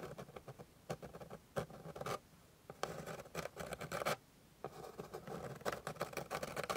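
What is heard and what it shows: Long pink glittery nails scratch rapidly with their tips across the flat surface of a light wooden board, which sounds solid. Dense bursts of dry, scratchy scraping come in quick flurries with brief quiet gaps between them, each stroke short with almost no ring.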